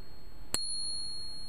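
A Morgan silver dollar is pinged in a ring test and gives a single bright, bell-like ring. The tone holds for about a second, showing the coin to be real silver.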